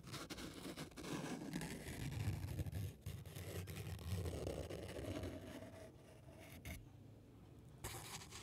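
A small crumpled piece of white paper, held between the fingertips of both hands, is rubbed and crinkled close to the microphone. It makes a steady, dense crackling and scratchy rustle with a heavy low rumble and some brighter crinkle on top. Near the end it fades to a quieter hiss, then the crinkling briefly picks up again.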